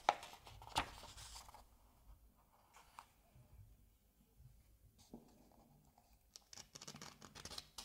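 Fingers lift and flip a paper page over in an open Asterix comic album. Sharp, crisp paper snaps open the clip, then soft dry rustling and a brushing swish as the page slides. It ends in a burst of bright, crinkly rustles.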